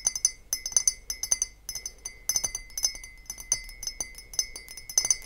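Long painted fingernails tap and knock on an empty, clear glass beer-style mug with a handle that stands on a table. The result is a rapid, irregular run of bright, high glassy clinks that die away almost at once, with a faint steady tone humming underneath.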